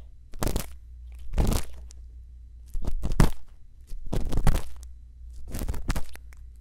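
A thin bamboo earpick scratches inside the ear canal of a white silicone ear microphone, producing crunchy, crinkly scraping bursts that come in irregular waves. A steady low hum runs underneath the whole time.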